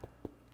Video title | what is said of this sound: Daniela Crocco: Simply Cooking by MmmChef S03 E02 - Focaccia and Insalata Pomodoro - Rogers tv | it's hollow inside that's the sound that we're looking for